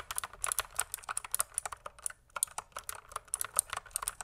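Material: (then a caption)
Plastic. Fingertips type continuously on a pink plastic mechanical keyboard, producing a quick, uneven stream of sharp, bright clicks and clacks. Each keystroke is short and dry, with almost no ring. A brief pause comes just after the two-second mark.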